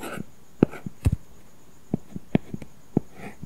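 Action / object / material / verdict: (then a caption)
tap / tablet glass screen with matte plastic film / plastic film / none. A plastic stylus held in the fingers writes and scratches strokes across an iPad screen covered with a flat, solid matte paper-texture plastic film protector over glass, writing "Merry Christmas & Happy New Year" and a signature. About ten short, dull, low-heavy taps and brief scratchy strokes stand out clearly from a quiet background with a faint steady high tone.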